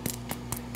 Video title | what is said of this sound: Filled Mantemuerto Recipe: Easy Recipe, Full Tutorial & Small Batch! Pan de Muerto Pan Dulce Recipe | you want to tap it and you hear that it sounds cooked